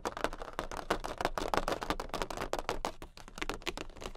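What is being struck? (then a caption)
Large thin cardboard playing card. Long pink acrylic nails on both hands tap rapidly on a jumbo, large, thin cardboard Queen of Hearts playing card. The result is a fast, irregular stream of short, dry clicks and papery taps with a slight hollow flutter. Each tap dies away almost at once.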